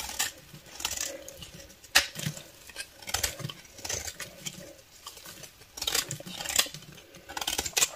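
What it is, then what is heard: Bar of soap being shaved. A solid beige bar of soap, held in the hand, is shaved with a snap-off utility knife blade, and the shavings fall onto a dark table. The clip is a run of crisp, bright scraping strokes with sharp, quickly fading clicks and little low end.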